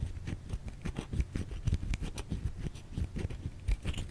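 A white solid bar of soap held in the hands is scratched with long nails, giving a quick, uneven run of short, dry scraping and crunching bursts. The sound is muffled and mostly low, with faint brighter scratchy edges on some strokes.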